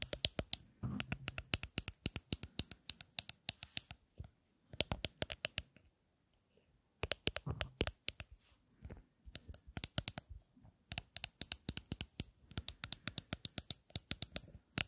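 A small rectangular lipstick case with a gold frame and black panels is tapped and scratched with long nails close up. Rapid, bright clicking taps come in quick bursts with a faint scratchy rasp between them. The bursts stop briefly near the middle before resuming.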